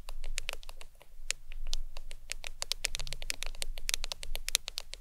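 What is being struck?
Smartphone glass screen.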